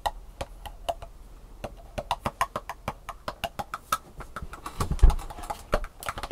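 Long painted nails tap rapidly on the raised compartments of an empty, thin, hollow-molded black plastic sushi takeout tray held tilted in one hand, with sugar crumbs on the table. A quick, uneven run of short, dry clicks sounds with a hollow midrange tone and almost no ring. A louder, denser cluster of taps comes near the end.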